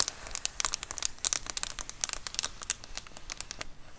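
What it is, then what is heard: Plastic bubble mailer. Long acrylic nails scratch and tap the textured bubbled surface of a large white plastic Amazon Prime bubble mailer lying flat. Dense, bright crinkly clicks and short scratches come in quick irregular bursts, crisp and dry with almost no ring.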